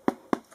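Taps on the thin aluminium back of a Toshiba AT300 tablet give two short, dull knocks centred in the low mids, followed by a faint third. The knocks die away almost instantly with no ring. Because the aluminium is very thin, the back sounds more like plastic than metal.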